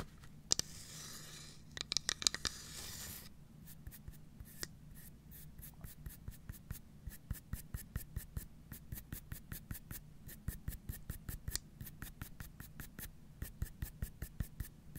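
Long nails scratch and then tap the wooden bottom of a carved wooden domino box with round dark feet, held upright. A soft, bright scratching rasp fills the first few seconds, broken by a few sharp clicks. It gives way to a quick, steady stream of crisp, dry taps with almost no ring.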